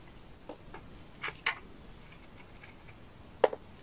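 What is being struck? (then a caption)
Bar of laundry soap shaved with a blade. A utility knife blade shaves curls off the face of a hand-held bar of dry, solid orange-brown laundry soap with embossed lettering. Six short, dry, crisp clicks and scrapes stand out over a faint hiss. The loudest and sharpest cut comes near the end, with a mid-pitched snap and bright edges.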